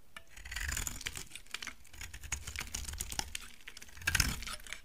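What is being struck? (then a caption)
Laundry soap bar cut with a knife. A utility knife shaves thick curls from a solid, dry brown laundry soap bar, making a steady run of short, crisp scraping and clicking strokes with bright, dry edges. A low rumble sits underneath, and a louder burst of cutting comes near the end.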